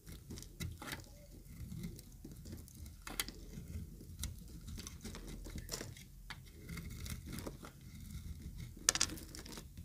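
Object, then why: Bar of soap cut with a metal blade. A yellow-green bar of solid dry soap is scraped and cut with a metal utility knife blade, and the shavings fall away. Quiet, dry crisp scraping and crumbling taps are heard, with sharp bright clicks standing out near the end.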